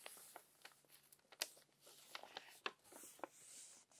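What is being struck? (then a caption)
Paper magazine pages. Wrinkled pages of a crumpled paper magazine are flipped with long-nailed fingers. Soft, bright crinkling and rustling is heard throughout, punctuated by sharp, crisp crackles and clicks as the pages turn.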